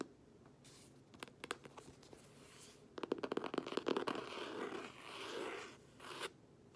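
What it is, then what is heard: Cloth-covered hardcover book being scratched. Long nails and fingertips scratch and rub across the textured cloth cover of a closed green cloth hardcover book held upright. Sparse dry scratches give way to a dense burst of quick, crackly scratching, then smoother rubbing swells and one last brief rub before it falls quiet.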